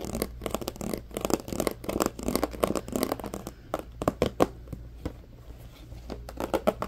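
An empty, hollow, medium-sized transparent plastic compartment organizer box is tapped and scratched with fingertips and nails. The result is a dense run of quick, dry, clicky taps mixed with scratchy rubbing, sitting mostly in the low-mid range, with each tap dying away almost instantly. A faint steady low hum runs underneath throughout.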